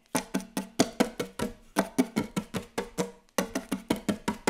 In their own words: ASMR Very Very Fast Wooden Table Tapping